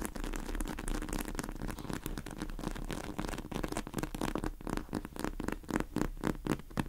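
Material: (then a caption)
Polyurethane foam. A large pink polyurethane foam squishy cake with sprinkles, sitting in a plastic tray, is tapped and scratched by long acrylic nails. Quick, irregular soft taps and scratchy rustles come in a continuous low, muffled patter, with short dull clicks that stand out more sharply toward the end.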